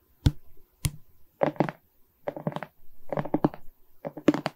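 Long red nails scratch and tap across a Mickey diamond painting made of small plastic resin rhinestone beads on a wood-framed canvas. Sharp, dry taps alternate with short bursts of gritty, rattling scratches, each dying away almost instantly with no ring.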